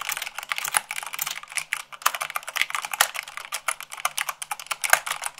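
Fast typing at about 98 words per minute, with fingertips and long nails, on a black mechanical keyboard with white plastic keycaps. A rapid, uneven stream of short, bright plastic clicks and clacks, with a few sharper keystrokes standing out. Each keystroke dies away at once and there is no low end.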